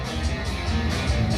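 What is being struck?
Nothing is struck.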